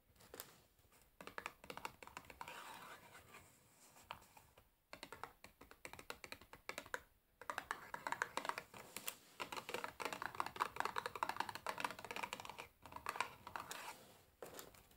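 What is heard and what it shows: Long painted fingernails rapidly tap and scratch the paper-covered surfaces of a small, hollow cardboard matchbox with matches inside, held on a table beside an untouched water glass. The result is a quiet, dense stream of crisp clicks and dry scratchy rustling centered in the mids, with brief pauses before resuming.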